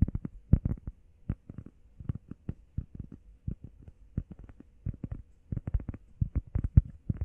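Long painted nails and fingertips tap fast on a solid, flat, hand-sized grey textured EVA foam workout pad shaped like a heart. The taps land as a rapid run of soft, dull, low thuds, each one dying away almost at once with no bright edge.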